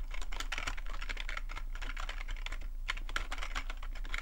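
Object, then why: Plastic membrane computer keyboard. Fingertips type rapidly on the keys of a full-size black plastic membrane computer keyboard with a hollow plastic body. The result is a dense, continuous run of short, clicky taps with a mid-range clatter, over a steady low hum.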